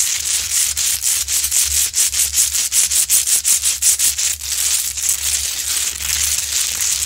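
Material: Rock salt.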